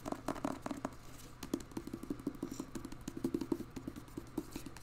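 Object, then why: Hardcover book with paper dust jacket. Fingertips and nails tap the cover and top edge of a thick, solid hardcover novel, "The Maidens," held upright in a glossy paper dust jacket. The result is a rapid, uneven patter of soft, dry, hollow taps centered low in the midrange, each dying away at once with no ring.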